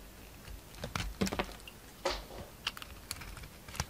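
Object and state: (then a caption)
Soap being shaved with a knife. A solid round soap with a gold glitter coating and a pale green core is shaved with a utility knife. Quiet, irregular bursts of crisp scraping and cutting stand out over a soft background hiss. Each stroke is short and bright and stops almost at once.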